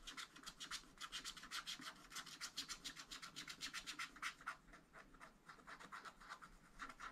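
A wooden stylus scratches and rubs dense strokes into a tree on a black, wax-coated scratch art sheet in a flat spiral pad. Quick, repeated rasping strokes come about four per second, each bright and scratchy with almost no low end. The strokes stay soft and steady throughout.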